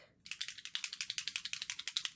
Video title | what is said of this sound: Wispy Flowers in Pearl Alcohol Ink | can hear the ball in it shake it up really good